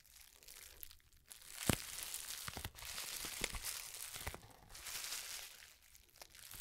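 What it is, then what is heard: Plastic bubble wrap pouch. A small, hollow, empty pouch of plastic bubble wrap is held close to the microphone and crinkled, squeezed, and rubbed between the fingertips of both hands. The result is a continuous, bright, dry crinkling with scattered sharp crackles and brief quiet gaps, all at a soft level.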